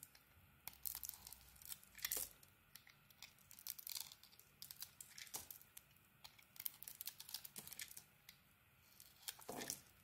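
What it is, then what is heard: Bar soap being shaved. A utility blade shaves the face of a solid green ISANA bar of soap with a glitter edge and a white core. Quiet, bright, crisp scraping and crackling strokes come in short bursts separated by brief pauses.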